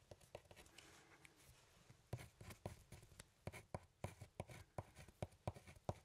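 A pen scratches and writes across a thin, solid brown hardboard clipboard with a metal clip, held up close. Quiet, continuous scratching fills the first two seconds, then gives way to louder, sharp, short strokes and taps with a dull low body and almost no ring.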